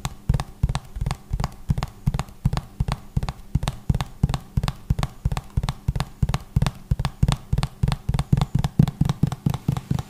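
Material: Plastic.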